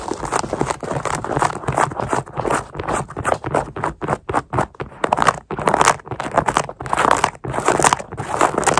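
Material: Knit fabric.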